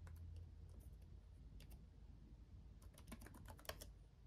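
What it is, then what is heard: Plastic laptop keyboard being typed on. Fingertips of both hands tap the RGB-backlit plastic keys of a black laptop keyboard, producing quick, soft, bright clicks in an irregular typing rhythm. The clicks sit over a steady low hum, and a slightly louder tap stands out near the end.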